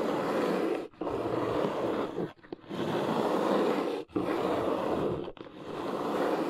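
Long nails scratch and tap along the top edge of a large, hollow, brown corrugated cardboard box. The result is five sustained, dry, rasping strokes separated by brief pauses. The texture is mostly mid-range with a faint bright hiss on top.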